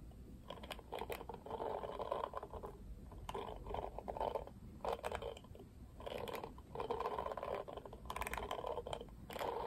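Fingertips strum and scratch across the bristles of a hand-held pink plastic Barbie paddle hairbrush with black plastic bristles tipped pink. Bursts of dry, scratchy rustling concentrated in the midrange alternate with quieter pauses, punctuated by sharp, bright clicking flicks as the bristles snap back.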